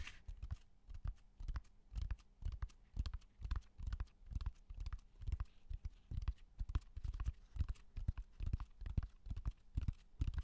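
A flat natural cork bark slab about 30 cm wide, solid and rough, is held in front of a microphone and tapped with fingertips and short nails. The result is an uneven stream of dull, low, short thuds with almost no high-frequency content, each dying away almost instantly at a loose pace of roughly two taps per second.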